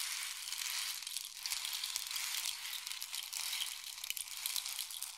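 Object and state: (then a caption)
Wooden rain stick. A long, hollow, painted wooden or bamboo rain stick is tilted in both hands so the filling pours down inside it. It makes a steady, bright, hissing patter of tiny clicks with almost no low end, holding a fairly even level throughout.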